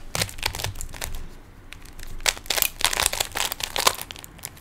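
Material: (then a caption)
Plastic. Fingertips twist the layers of a small hollow plastic 3x3 Rubik's cube with stickers, producing bursts of bright, crisp plastic clicks and rattles. The clicks come in quick clusters with short pauses between them, and each one dies away almost instantly.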